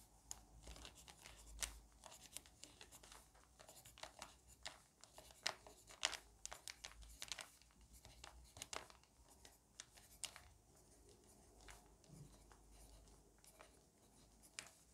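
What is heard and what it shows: A pencil writes and scratches in rows across the crinkled page of a lined paper notebook lying on a table, while a hand with long manicured nails holds the page edge. Many short, bright scratching and crinkling bursts come quickly one after another over a quiet background.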